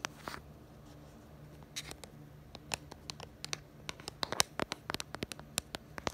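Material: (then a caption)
Plastic. Long nails tap and scratch the back of a smartphone's pink plastic case, near the black bumper around the camera. Soft scratching gives way to about 25 sharp, bright, dry clicks at an uneven pace, growing denser toward the end over a faint low steady hum.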